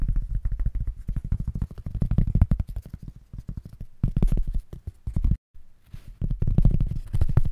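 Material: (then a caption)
Foam. A thin, solid white foam packing sheet, held in both hands in front of the microphone, is tapped rapidly with the fingertips. The result is a dense, fast stream of short, dull, low thumps with almost no high end, broken by a brief silence just past the five-second mark before the tapping resumes.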